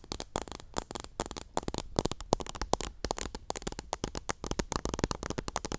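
A small clear pink plastic cup full of teal cotton swabs is tilted close to the mic while long nails rub and scratch the swabs. The result is a dense run of quick, dry crackling and scratching taps with a faint papery rustle between them.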